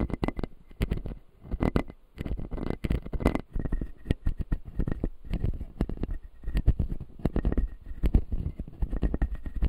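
A fingertip taps and scratches the white plastic lower teeth of an opened, solid clear acrylic dental model. The result is a dense run of short, dry, low-heavy clicks and soft scraping, with a faint steady tone near 2 kHz underneath.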